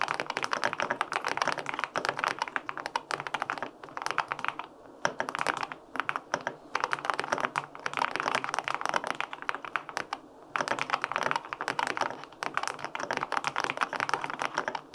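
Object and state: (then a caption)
Aluminum mechanical keyboard with plastic keycaps. Fingertips type steadily on the plastic keycaps of a white-pink full-aluminum 65% mechanical keyboard with linear switches, producing dense, crisp clacks with short, dry decay. Bursts of rapid keystrokes are broken by brief pauses near 4, 5, and 10 seconds.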